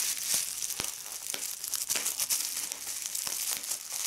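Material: Plastic.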